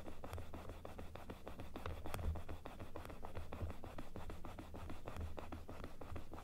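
Long nails rub and scratch across the teeth and inner palate of a large plastic dental model held open. The result is a steady stream of quick, dry scraping clicks over a low, muffled rumble that stays soft and even throughout.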